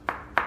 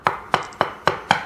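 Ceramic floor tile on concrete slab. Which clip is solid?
The first.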